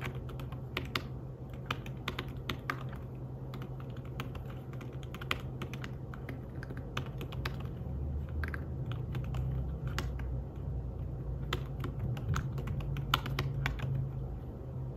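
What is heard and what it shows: Fingertips tap the keys of a slim, fabric-covered tablet keyboard while typing, producing soft, quick, irregular clicks with short bright ticks. A steady low hum runs beneath the typing throughout and grows slightly fuller in the second half.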